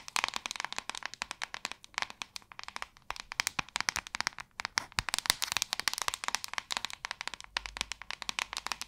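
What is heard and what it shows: Long acrylic nails tap rapidly across the back of a hand-sized white plastic paddle hairbrush. The result is a dense, steady run of sharp, dry, bright clicks that stop almost instantly, with very little low end.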